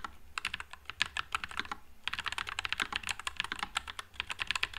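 A white low-profile NuPhy Air96 mechanical keyboard with Wisteria switches and plastic keycaps is typed on with the fingertips of one hand. The result is a fast, steady run of short, bright, crisp clicks with almost no low end, broken by a brief pause before the typing resumes.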